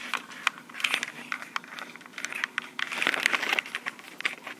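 Long pink acrylic nails tap and scratch the body of a small black plastic Tascam portable recorder with metal mic capsules. The result is a dense run of crisp, dry clicks and scratchy, crinkling rasps that are bright and thin, centered around 2 kHz with no low end.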